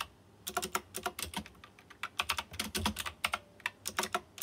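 Fingertips type on a white plastic mechanical keyboard with round chrome-rimmed keycaps. Bright, sharp clicks and clacks come in quick irregular bursts with short pauses between them, and each keystroke dies away almost instantly.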